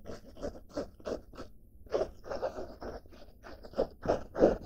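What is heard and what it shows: Long dark nails scratch across the surface and front pocket of a blue denim-fabric backpack with a red badge and grey straps. It makes a quick, uneven run of short, rough scraping strokes with a dry, crunchy texture and a faint bright hiss. There is a brief pause near the middle before the strokes pick up again, growing slightly louder toward the end.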